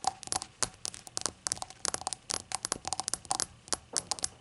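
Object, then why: Glass shot glass. A glass shot glass is tapped in a quick, uneven run of light clinks. Each tap is short and bright, with a faint tone near 770 Hz that dies away almost at once.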